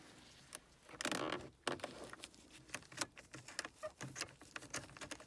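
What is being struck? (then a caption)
Small hollow plastic air freshener with liquid inside. Gloved fingernails quickly tap and scratch a small, pink-printed, hollow plastic car vent air freshener with liquid inside, held near the dashboard vents. The result is a fast, uneven run of light, bright plastic clicks and ticks, with a few longer scratchy rustles, all at a quiet level.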